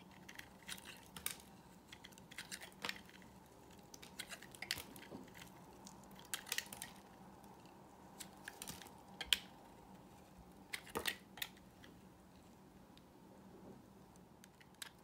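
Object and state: Dry bar soap.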